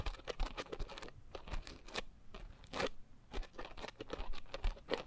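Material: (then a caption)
Foam. A pink coarse foam scrub sponge is squeezed at the sides, then scratched across the top with long nails. Quick, close crunchy bursts and dry scratching crackle in an uneven patter, with a soft, low-weighted body.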